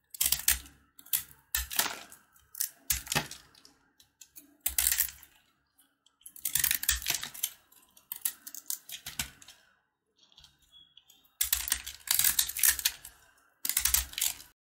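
A blue box-cutter blade scratches and carves the crunchy surface of a solid yellow corn-kernel jaggery candy bar, a brittle bar held in the fingers. Bursts of crisp, bright scraping and crackling clicks come in short clusters separated by brief pauses, with little low end and quick decay.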